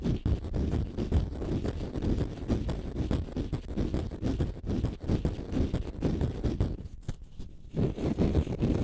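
A palm-sized, solid, porous, pale-green dry konjac facial sponge is held in both hands and scratched with short fingernails. The result is a dense, low, rumbling scratching made of quick, irregular strokes that run together, with a brief quieter lull near the seventh second.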